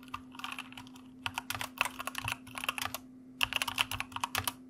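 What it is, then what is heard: Plastic mechanical keyboard. A white mechanical computer keyboard with plastic keycaps is typed on with the fingertips of both hands, giving rapid bursts of crisp, bright clacking keystrokes with short pauses between runs. A faint steady low hum runs underneath throughout.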